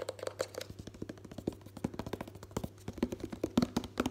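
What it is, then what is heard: Plastic lotion bottle. Fingertips and nails tap and grip a white, hollow, medium-size Sanex plastic body moisturiser bottle fast while it is tilted forward, its fill level unseen. Dozens of quick, dry clicks and hollow taps run in a dense, uneven stream with a low hollow tone around 240 Hz. Each tap dies out almost instantly, and the bursts grow slightly louder toward the end.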